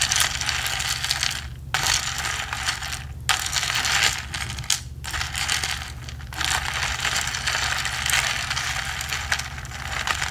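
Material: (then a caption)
Plastic. A ridged plastic straw, held at the fingertips, is pumped up and down through the lid hole of a hollow, medium blue plastic tumbler. It makes a continuous, bright, ratchet-like rubbing rasp concentrated in the high frequencies. The rasp is broken by a few brief pauses and sits over a steady low hum.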